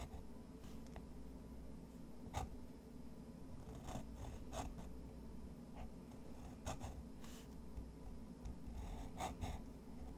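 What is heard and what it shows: A black fountain pen's metal nib scratches across a large flat sheet of thick, textured white watercolor drawing paper on a wooden desk in short drawing strokes. About eight brief, bright scratches stand out over a quiet, steady low hum.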